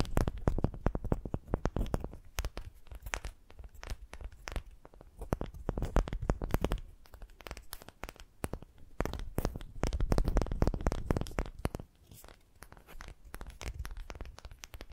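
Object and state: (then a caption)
Wooden ball. A pale, unfinished, palm-sized wooden ball that looks solid is held in one hand and scratched and tapped with long pastel-painted nails. The result is a dense, irregular stream of short, dry scratching and tapping clicks with a heavy low thud underneath, coming in busier bursts and quieter stretches.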